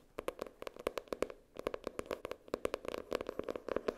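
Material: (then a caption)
Cardboard. Long nails tap and scratch the hard cardboard cover of a floral-printed hardcover spiral notebook. About 24 quick, dry taps land in bursts with brief pauses between them. Each click carries a hollow tone near 490 Hz and a bright edge, and it dies away almost instantly.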